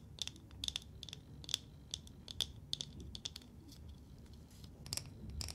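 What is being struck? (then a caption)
Lacquered wooden nesting doll. A small, hollow, painted and lacquered wooden matryoshka nesting doll, held in both hands, is tapped and scratched with long nails. This makes quiet, irregular, sharp clicks and taps with a bright tone near 3.5 kHz, over a soft, low background rustle. Each tap dies away almost instantly.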